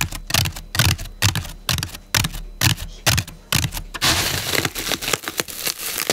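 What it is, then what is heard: Floral foam block. Long pink nails and fingertips press, scratch and rub the top and sides of a large solid block of turquoise-green floral foam resting on a table. For about four seconds there are quick, crisp crunching taps and clicks with a dull low thump beneath them. The sound then gives way to a continuous bright, scratchy rubbing hiss.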